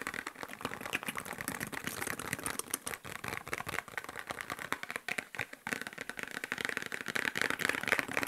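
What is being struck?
Small cardboard medicine box.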